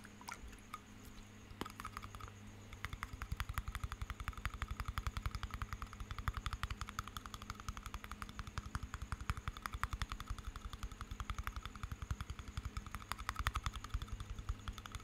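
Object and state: Small glass jar of water with metal lid.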